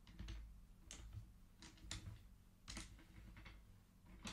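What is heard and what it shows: Fingertips of both hands slide colored wooden beads along the thin metal rods of a large wooden-frame abacus, so the beads click against each other. Bright, short wooden clicks come in irregular bursts, some in quick pairs, over a steady low hum.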